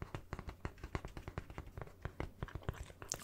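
A small, thin, hollow red plastic coffee-cup lid, held on its own, is tapped and scratched with fingernails. A quick, uneven run of soft, dull clicks with almost no ring is heard at a low level, ending in a brief bright scratch.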